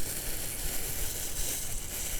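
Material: Nothing is struck.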